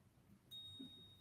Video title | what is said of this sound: VoF Ainslie Bullion Paul, Director, Tells us a bit about precious metals | do that with two coins you can hear the ring it's a sustained um high-pitched ring